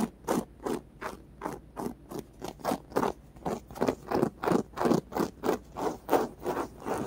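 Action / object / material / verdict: scrape / polyurethane foam squishy / polyurethane foam / none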